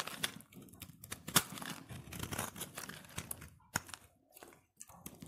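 A utility knife blade shaves a solid cream-white embossed soap bar held in the hand. Short, bright scraping and crumbly crinkling strokes come in quick bursts, with a few sharper cuts standing out and brief pauses between them.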